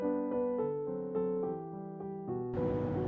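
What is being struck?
Nothing is struck.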